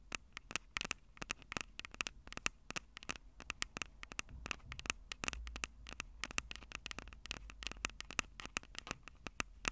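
Long purple acrylic nails rapidly tap and scratch the two small crossed metal mesh mic capsules on the hollow plastic body of a Tascam DR-05 handheld recorder. Each touch is a sharp, dry click with almost no ring, bright and peaking around 2.6 kHz, over a soft scratchy hiss and low rumble.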